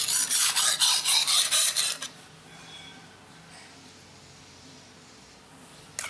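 A steel kitchen knife is rubbed back and forth on a dark grey rectangular whetstone, with fingertips pressing on the blade, making eight quick, bright, hissing scrapes in steady rhythm over about two seconds. The scraping then stops into near silence before another short scrape starts at the end.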